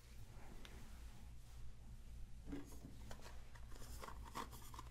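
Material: Silicone.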